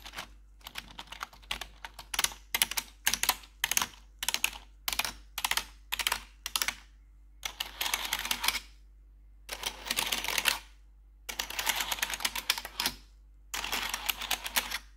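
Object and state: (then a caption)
Plastic computer keyboard tapped with metal nails. Long pointed metal nail claws worn over blue gloves type and tap on the hollow keycaps of a black plastic RGB backlit computer keyboard. Bright, dry clicks come first in short separate bursts, then in longer rapid runs of clattering taps with pauses in between.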